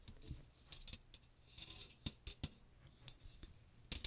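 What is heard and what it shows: Fingernails rapidly scratch and tap the fine metal mesh of a small strainer with a teal plastic rim, which is tilted around the microphone. The result is quiet, bright, crackly scratching broken by sharp, dry taps with low thumps underneath, each dying away almost instantly.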